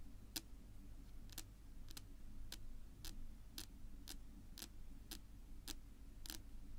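Long pink nail tips tap slowly on a flat, solid, dark wood-grain tabletop. The result is a steady series of short, sharp, bright clicks, evenly spaced like a ticking clock, over a constant low background hum.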